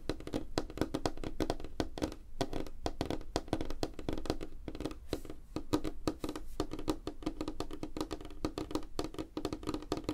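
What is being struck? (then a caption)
Wooden tabletop. Fingertips and nails tap rapidly on a flat, solid, light wooden tabletop with the hands spread apart. The result is a dense, continuous patter of short, dry knocks with a woody tone around 300 Hz and a low thump beneath. Each tap dies almost instantly, with little bright content.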